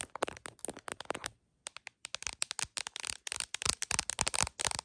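Long acrylic nails tap and scratch the back and camera bump of an iPhone in a printed plastic case mounted on a tripod. Quick, sharp, bright clicks with light scratchy rasps come in rapid clusters. There is a brief silent pause near the middle.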